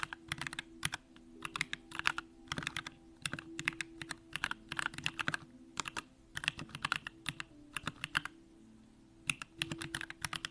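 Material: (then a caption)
Plastic, aluminum. A compact Bakeneko65 mechanical keyboard with an aluminum case, Durock lavender switches and pink plastic keycaps is typed on continuously with the fingertips of both hands. Quick, bright clacks land in rapid bursts separated by brief pauses. Each keystroke dies away almost at once over a faint, steady low hum.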